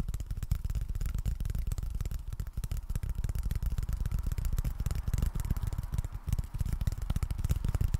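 Continuous rapid tapping on cardboard: a dense run of short, dull knocks with almost all the energy in a low, boomy thump and very little brightness. Each tap dies away almost instantly, and the steady patter holds an even level throughout.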